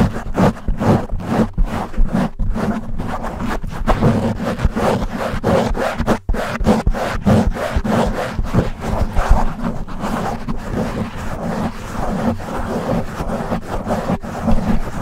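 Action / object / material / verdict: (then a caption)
scrape / foam microphone windscreen / foam / none. Fingertips of both hands scratch and rub aggressively on a black foam windscreen fitted over a silver microphone. The result is a continuous, dense stream of loud, low, muffled scratching and rustling with rapid repeated strokes. There is a brief dip in the noise around the middle.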